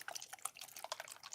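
A non-oxide craft spray paint bottle with no ball bearing inside is shaken side to side. Only quiet, bright liquid sloshing and drip-like splashes are heard, with no bearing rattle, as expected for a bottle without one.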